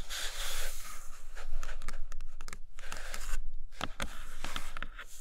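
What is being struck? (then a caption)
Kraft cardboard box tray. Long acrylic nails tap and scratch the printed bottom inside a large, empty, flat brown kraft cardboard box tray. Rough, papery scratching sweeps alternate with short, sharp taps over a steady low hum. The taps end quickly with almost no ring.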